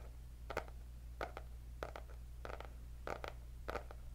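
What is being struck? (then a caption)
Cardboard hardcover notebook. Long nails scratch and tap the cardboard cover of a white hardcover paper notebook with gold dots. Six short, dry bursts of tapping and scratching come at fairly even intervals, each fading quickly over a steady low hum.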